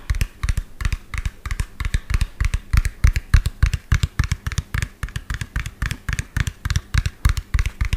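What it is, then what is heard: Plastic toy dump truck. A medium lime-green hollow plastic toy dump truck with an empty tipper bed is held sideways while fingernails tap rapidly on its cab. The result is a fast, uneven stream of short, hollow, low thuds with faint clicky edges, each dying away almost instantly.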